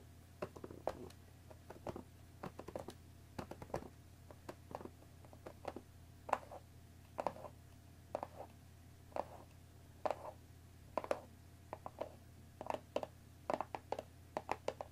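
Long nails tap the top edge of a hollow cardboard Earl Grey tea box wrapped in cellophane, resting on a wooden table. The result is a quiet, irregular run of short, dry, crinkly taps that die away almost instantly, centered in the midrange around 800 Hz, over a steady low hum.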